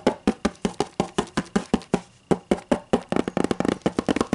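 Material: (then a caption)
Cardboard. Long matte green and black nails tap and scratch a solid, closed white hardcover book lying on a table. Short, dry knocks with a mid pitch come at a steady pace, then turn into a quicker, denser run of taps toward the end. Each tap dies away almost instantly.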